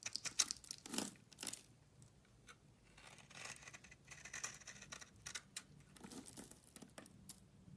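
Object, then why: Soap bar scraped with a metal blade. A solid beige bar of soap held in the hand has its surface scraped with a metal utility blade, shedding powdery shavings. Crisp, bright scraping strokes come in quick, short bursts, loudest at the start and then continuing more softly with a dry, crumbly texture.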